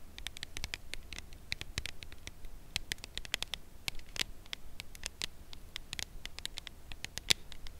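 A full red Lindor cardboard chocolate bar box is held edge-on and tapped on its narrow edge with long nails. The result is a steady run of quick, dry, bright clicks centered around 3.7 kHz, with no ring after each tap, over a soft low background rumble.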